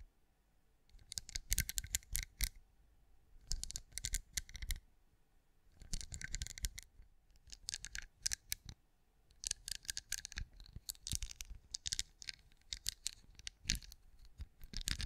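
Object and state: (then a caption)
Pinecone-shaped wax candle. Long acrylic nails tap and scratch the textured surface of a hand-sized, cream, pinecone-shaped wax candle that appears solid. Quick, dry, clicky taps and scratchy rasps come in bright bursts over soft low thumps, separated by short quiet pauses, each tap dying away almost instantly.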